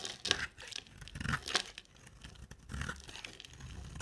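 A solid, dry, oval cream-white soap bar with a black coated rim is held in the hand and shaved with a box-cutter blade. Irregular bursts of bright, crisp scraping and crunching are heard as the blade carves thin shavings off the bar, with quiet gaps between strokes.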